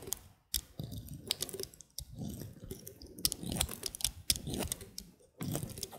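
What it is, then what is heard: Bar of soap being cut. A utility knife blade makes repeated short, crisp cuts into a small piece of solid white soap bar held between the fingers. Each cut gives a dry, bright click with a quick scraping crackle over a soft, low rustle, and the cuts come in quick irregular bursts.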